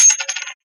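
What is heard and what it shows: An aluminum token coin is dropped and gives a light, high-pitched clinking rattle that bounces quickly and dies out in about half a second. The thin, bright clink sounds almost like plastic, which fits the lightweight aluminum and is normal for such a coin.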